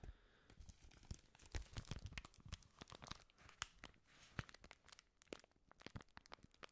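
A thin sheet of white paper is held in gloved hands, crinkled with the fingertips and then crumpled into a ball close to the microphone. Dense, quiet crackles and sharp bright snaps run throughout, with a soft low rumble beneath as the paper is squeezed tight.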